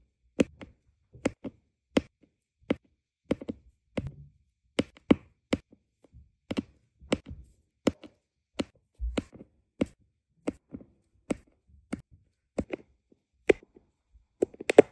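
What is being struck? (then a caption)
Resin drills on adhesive canvas, tapped with a plastic pen. A plastic drill pen with a metal tip taps small, solid, round resin diamond painting drills down onto a flat adhesive canvas. About 24 short, dry, sharp clicks come at an uneven pace, each with a bright edge and almost no ring, with faint soft rustles between them.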